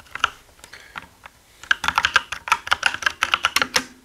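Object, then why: Mechanical keyboard with plastic keycaps. Both hands type with their fingertips on a black mechanical gaming keyboard with plastic keycaps. A few scattered, sparse key taps give way to a quick, steady run of sharp clacks. Each keystroke is a short, dry, bright click with little ring, centered around 1.5 kHz.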